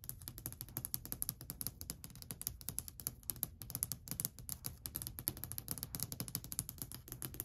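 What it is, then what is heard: Solid varnished wooden shelf. Long white acrylic nail tips tap rapidly on a long, flat, solid varnished wooden shelf ledge. The result is a dense stream of short, dry clicks with a bright, high tick on top of a soft low knock, each dying away almost instantly.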